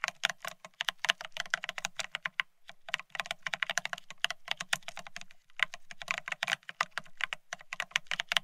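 Fingertips of both hands type fast on a full-size beige split ergonomic keyboard with plastic keycaps. It makes a rapid stream of dry, bright plastic clicks with a light low thud under each keystroke, and brief pauses near 2.5 and 5.5 seconds. Each click dies away almost instantly.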